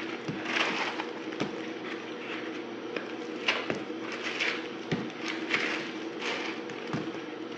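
A yellow-handled utility knife scrapes and cuts a solid dried soap block, pink glitter outside and white inside, held in the fingers. There is a steady, bright, crumbly scratching broken by repeated sharp crisp clicks and snaps. The block crumbles into flakes.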